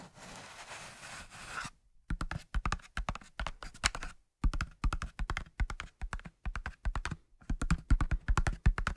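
A large cardboard matchbox with its drawer partly open is scratched and tapped on its side with fingertips and nails. A short stretch of steady scratching gives way to quick, dry, muffled taps in uneven bursts, each dying away almost at once with a dull, low-heavy tone.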